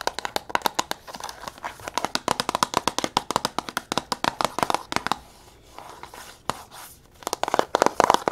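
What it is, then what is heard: Cardboard box. A small, closed, red printed cardboard box is held in the hands and tapped and scratched very fast with long nails on its faces. Dozens of crisp, dry taps with a hollow papery tone near 1 kHz and bright edges give way to a quieter stretch of soft scratching around the middle. The rapid tapping then picks back up toward the end.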